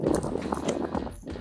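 Knuckles knock repeatedly on the standard 25-gallon plastic water tank in a camper van build, giving a series of hollow, clip-clop-like thuds centered in the low mids with little high end. The tank sounds empty.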